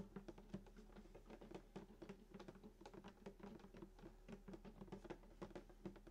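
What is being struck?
Wooden acoustic guitar body.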